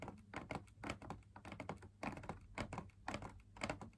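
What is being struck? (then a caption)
Fabric-laminated drum lamp shade. Fingers tap the outer wall of a hollow, perforated, fabric-laminated drum lamp shade in an irregular, quick rhythm. Each tap is a soft, dull thump with a papery mid-range edge and almost no ring, under a low steady hum.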